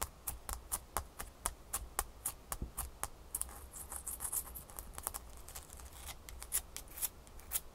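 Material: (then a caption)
Ice. A single small, solid ice cube held in one hand is scratched quickly with long fingernails. The result is a fast, uneven run of short, crisp, bright scratchy clicks that stop almost at once, heard over a faint low hum.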